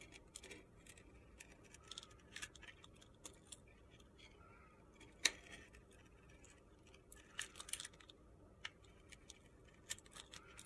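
A steel utility knife blade carves and scrapes flakes off a hand-sized solid soap bar with a purple-red glitter coating and a white core, held in the fingers. The sound is quiet, bright, gritty scraping punctuated by short crisp clicks and crunches, with one sharper snap near the middle. Each sound dies away almost instantly.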